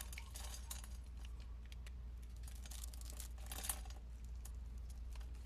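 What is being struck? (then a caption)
Soap bar cut with a metal blade. A metal blade cuts small cubes off a solid, hand-sized white soap bar that has been scored into a grid. It makes a quick run of crisp, bright ticks and crunches as the pieces break away, over a steady low hum throughout.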